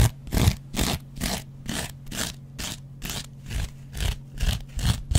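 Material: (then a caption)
Cellulose foam. A metal double-edge razor blade is scratched and scraped across a hand-sized, dry, yellow cellulose foam kitchen sponge with a scouring pad. Short, bright, rasping strokes repeat at roughly two per second over a steady low rumble, each scrape cutting off dry with no ring.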